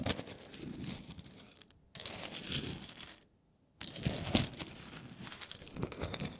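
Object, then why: Roasted coffee beans on a wooden board. A wooden spoon scoops and stirs through a pile of whole roasted coffee beans on a wooden board. The small, hard, dry beans rattle and click against each other and the board in dense, crisp bursts. The stirring comes in three stretches separated by two short silent pauses.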